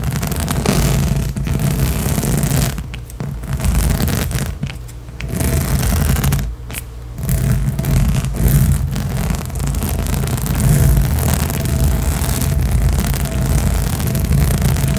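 Long nails of both hands scratch fast across a large, hollow, blue inflatable rubber/PVC spiky balance cushion. The result is a dense, continuous rasping scratch with a heavy low rumble and faint bright texture, dipping briefly a few times before resuming.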